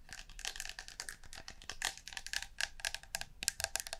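A blue and green metal aerosol shaving foam can, held horizontally and upright close to the microphone, is tapped and scratched on its metal body with long fingernails in quick, rapid taps. The result is a dense, quiet stream of bright, crisp clicks and light scratchy ticks that stop dead with no ringing, and almost nothing in the low end.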